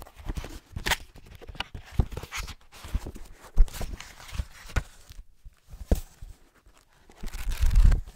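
Fingertips scratch and tap the paper page edges of a thick green hardcover book, then riffle through them. A series of soft, dull taps and short scratchy brushes sounds close up, ending in a longer, low fluttering rustle as the pages are riffled.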